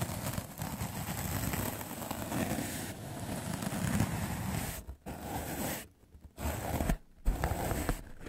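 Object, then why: Melamine foam sponge. A white rectangular magic eraser block of solid melamine foam, held in the fingers, is brushed fast with a large soft black makeup brush. The result is a dense, scratchy rustle with a heavy low rumble, broken by a few brief pauses near the end.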